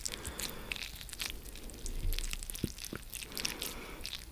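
A fresh yellow lemon cut into two halves, one half held in each hand close to the microphone, is squeezed and rubbed with the fingertips. Wet, squishy crackles and small crunchy pops run steadily over a low rumble, with bright high ticks scattered throughout and a few sharper pops standing out.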